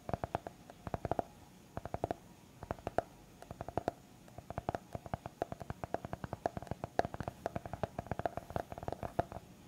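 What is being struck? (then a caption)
Small hardcover notebook, paper and board. A small, solid white hardcover notepad made of paper and board is held in the hand while fingertips and nails tap and scratch its cover. Quick, dry taps land in uneven bursts and clusters, each with a short, hollow knock around 700 Hz that dies away almost instantly. Faint scratching fills the gaps at a soft, close level.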